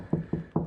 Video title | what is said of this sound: How to Wall Mount a TV - What is the Right Height - Types of TV Wall Mounts | high pitch here and a low pitch over here so you know you're in between studs